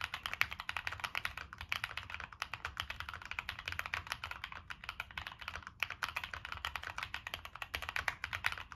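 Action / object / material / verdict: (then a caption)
tap / mechanical keyboard with plastic keycaps and metal case / plastic / none. Fingertips type steadily on a Monsgeek M1 mechanical keyboard with NK Cream switches, a dark metal case and purple and black plastic keycaps. A fast, continuous stream of crisp, bright clacks fills the clip, each keystroke dying out almost instantly over a faint low hum.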